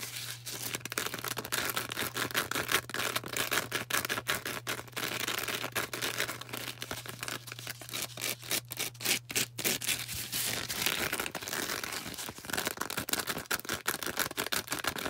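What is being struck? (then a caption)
Foam sponge. Long orange acrylic nails tap and scratch a hand-sized, star-shaped green porous foam sponge, making dense, rapid, bright scratchy crackles and soft clicks. A steady low hum sits underneath for about the first eleven seconds, then drops away while the scratching continues.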